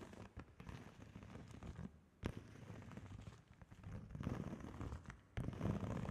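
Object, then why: Plastic padded mailer bag. A large, flat holographic plastic padded bubble mailer bag printed with GLAMNETIC is held up and tapped and scratched with long fingernails. Dense crackly scratching and rustling fills the clip, broken by sharp tapping clicks, with most of the energy low and dull.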